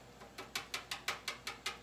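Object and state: Candy syrup set to hard ball stage.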